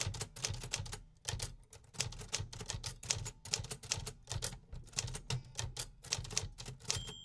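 A 1950s Remington Quiet-Riter metal typewriter is typed on continuously with fingertips on its keys. A rapid, uneven stream of sharp, bright mechanical clacks is heard, each with a brief low thump underneath and almost no ring, with short pauses between bursts.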